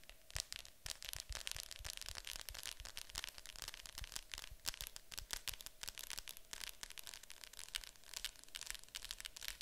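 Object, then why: Plastic VHS clamshell case. Long acrylic nails tap and scratch the top of a Disney Fantasia VHS case, a hollow plastic clamshell with a glossy printed cover lying flat on a table. The quiet, rapid, irregular clicks and scraping strokes sound bright and crisp, each tap dying away almost instantly with little low-end body.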